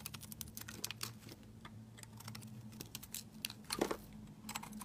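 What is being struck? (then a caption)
Bar of soap cut with a knife blade. A utility knife blade carves and scrapes a solid, hand-sized white soap bar with a glitter-coated rim, dropping shavings onto a mat. Quick, crisp, bright scraping ticks come in a rapid irregular patter, like keyboard typing, with one fuller crunch near the end. A faint steady low hum runs underneath.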